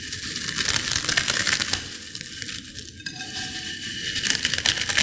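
Finely crushed potato chip pieces in a white bowl are pinched and crushed by fingers with long nails. The sound is a dense, bright crackling and crunching, mostly high-pitched with little low end. It comes in irregular bursts of short, sharp crackles.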